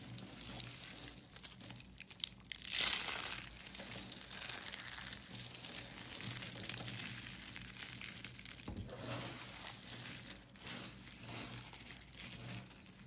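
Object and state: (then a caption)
Soap curls. Fingertips squeeze and crumble a blue-pink soap spiral and a pile of soap flakes, making a steady, bright crinkling and crunching with a louder burst of crushing near the three-second mark. The soft, papery crackle continues with little low-end weight until the end.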